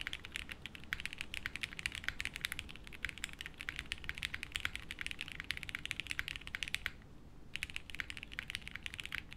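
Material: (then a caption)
Plastic. A 60% mechanical keyboard with beige doubleshot plastic keycaps, a light case and no plate, sitting on a felt desk mat, is typed on continuously with the fingertips of both hands. The result is a rapid, steady stream of short, bright clacks over a faint low rumble, with a brief pause near the seven-second mark before the typing resumes.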